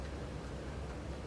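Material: Nothing is struck.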